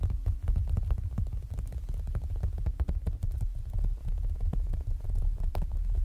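Fingertips tap rapidly on the clear plastic front cover of a closed zip planner binder, lying flat with a paper insert beneath the plastic. The taps are dense and muffled, with dull, low thuds and short clicks that die away almost at once.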